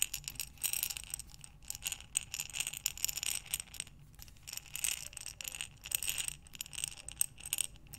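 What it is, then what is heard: Glass jar full of buttons. A glass mason jar with a metal lid, full of buttons, is tipped and rotated by hands with long nails, sending the buttons sliding against the glass. The result is repeated bright, rattling bursts of clicking and clattering that rise and fall as the jar turns, with almost no low end.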